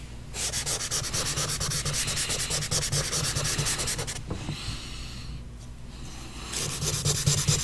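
A pastel stick held in the fingers is scraped and rubbed in short, quick strokes across a large paper sheet on a board to fill in the pupil of a drawing. The strokes make a steady, bright scratchy hiss over a low hum, fading to a quieter, softer rubbing midway before the brisk strokes resume near the end.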